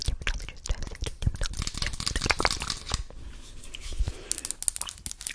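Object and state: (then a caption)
Plastic jar of petroleum jelly. Long nails tap and scratch the blue plastic lid and sides of a medium translucent plastic tub full of Vaseline jelly. The result is a rapid run of crisp, clicky taps mixed with dry, scratchy rustling over about five seconds.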